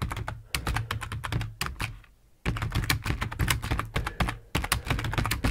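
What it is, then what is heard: Plastic computer keyboard being typed on. Fingertips of both hands type on the keys of a full-size black plastic computer keyboard resting on a wooden desk. Rapid bursts of bright clicky keystrokes, each with a deep thump, run with a brief pause near the middle before the typing resumes.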